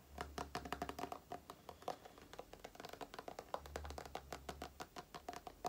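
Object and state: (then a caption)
Plastic cream tube. Long nails tap and scratch a small plastic cream tube, including its flat crimped end. The result is a quiet, rapid run of dry, clicky taps with a hollow tone near 540 Hz and very little ring, plus soft scratchy rustles between the hits. A faint low hum runs beneath, swelling at the start and again around the middle.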